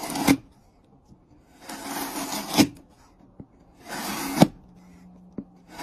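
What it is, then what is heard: Pine wood block being shaved. A hand-held steel chisel is pushed along a solid, light-colored, hand-sized pine softwood block held on a wooden surface, shaving off curled wood strips. Three bright, rasping scrape strokes are heard, each ending in a sharp knock as the cut finishes, with faint ticks in the quiet gaps between them.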